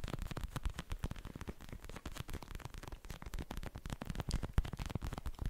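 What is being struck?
Plastic gel cushion pad with beads.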